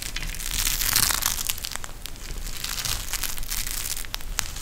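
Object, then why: Plastic gel bead eye mask. A pink gel bead eye mask, with a clear plastic shell filled with gel beads and fabric trim, is bent and squeezed in both hands. It makes a steady, irregular run of bright crinkling and crushing crackles over a low rumble, with a few sharper snaps standing out near the end.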